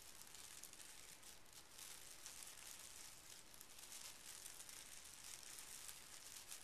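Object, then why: Folded tissue paper. Fingertips of both hands smooth and lightly scratch a small folded square of pink tissue paper resting on carpet. The result is a quiet, steady, bright rustling and crinkling hiss that continues without clear breaks.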